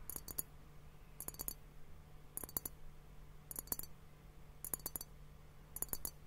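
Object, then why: Glass hourglass timer partly filled with liquid. A fingertip and nail tap on both bulbs of a clear, hollow glass hourglass liquid timer partly filled with pink liquid and bubbles. The taps come in six short bursts of quick, bright, clicky glassy ticks that die away almost instantly, over a faint steady low hum.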